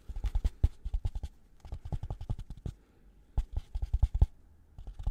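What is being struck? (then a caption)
Polystyrene foam block. Gloved fingers scratch and rub a white polystyrene foam packaging block with two oval recesses, held close to the microphone. Quick bursts of dry, squeaky scraping strokes come in three clusters separated by short pauses, each stroke a dull low thump that stops at once with no ring.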